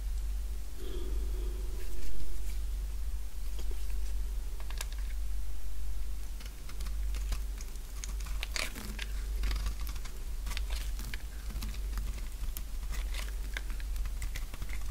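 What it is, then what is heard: Dry bar soap being shaved. A purple, solid, oval bar of dry soap is held in the palm while a utility knife blade shaves flakes off its edge. Quick, crisp scraping and crunching cuts sound in a steady stream over a low hum.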